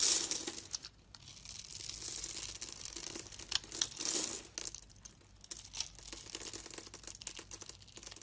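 A palm-sized solid pink bar of soap is held in the hand, scored in a grid and shaved with a metal utility knife blade. Crisp, bright scraping and cutting sounds come in quick, uneven bursts, with brief pauses near the first and fifth seconds. Crumbling bits of soap add a dry crackle throughout.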